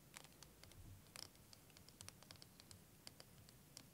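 Fingernails scratch and tap a clear, curved, wavy plastic liquid timer filled with green liquid, held horizontally. Quiet, sharp, bright clicks and scratches sound in a quick irregular pattern over a soft low rumble. Each tap dies away almost at once.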